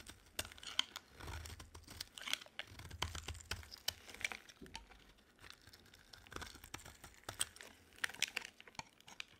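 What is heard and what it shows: A solid green and white striped bar of dry soap, held in the hand, is scraped with a utility knife blade into chips. The sound is dense, bright, crisp scraping and crackling, with many quick clicks and snaps over a soft low rumble. The crackles rise in brief bursts and then ease off between strokes.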